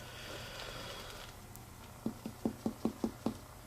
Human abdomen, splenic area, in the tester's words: it was still tympanic that is because he does not have a splenic enlargement